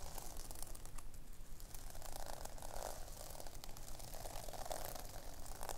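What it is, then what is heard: Sequin-covered notebook. Long nails scratch and tap across a pink sequin fabric notebook, flipping the scales over in a steady stream of soft, dry clicks and crinkly rustles. The sound stays continuous and low-level throughout, with bright scratchy texture above a faint low rumble.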